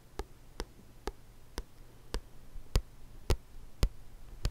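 Fingertips and nails tap the solid glossy card back cover of a thick paperback book nine times at a slow, uneven pace. Each tap is a short, dry click with almost no ring, over a low, steady hum.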